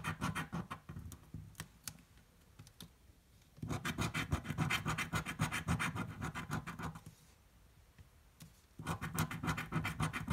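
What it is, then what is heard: Scratch-off lottery ticket being scratched. A coin scratches the coating off a green, thin card paper scratch-off lottery ticket held flat, making rapid, gritty scraping strokes. The scratching comes in three bursts separated by short quiet pauses, with the middle and final bursts dense and steady. The sound is rough, with a low body and a bright, papery edge.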